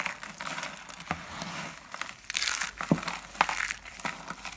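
Pink and teal dry soap curls are squeezed and crushed between fingers into thin flakes. The result is a dense, dry crinkling crunch, with bright crackles and a few sharper snaps over a steady rustle.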